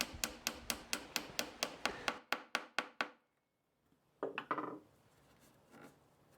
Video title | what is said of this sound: Vintage stool transformation | Тоді я натисну його на місце з невеликим молотком Звук змінюється, коли дюбель потрапляє в дно отвору